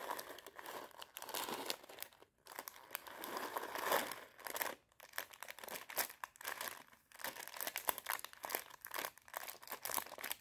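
A small clear plastic bag partly filled with dried popcorn kernels is crinkled with fingertips and long nails and shaken. Dense, bright crinkling and rattling come in bursts, separated by brief quiet gaps.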